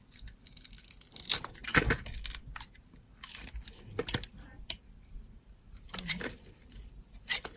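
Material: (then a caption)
Soap. A metal box-cutter blade cuts and scrapes a solid teal soap bar with a copper glitter edge. The result is a series of short, bright, crisp scraping and shaving sounds, separated by quiet gaps.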